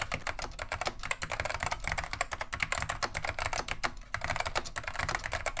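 Continuous two-handed fingertip typing on a beige plastic vintage Wang 725 mechanical keyboard with Alps switches. Heard as a dense stream of sharp, bright clacks with a steady low hum underneath and a brief lull near the four-second mark.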